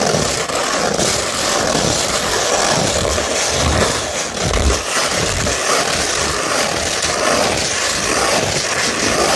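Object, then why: Sandpaper sheet. A beige 100-grit sandpaper sheet, held in one hand, is rubbed and scratched with the fingertips and nails of the other hand. A steady, coarse, gritty scraping hiss runs throughout, bright and broadband, with slight swells as the strokes change.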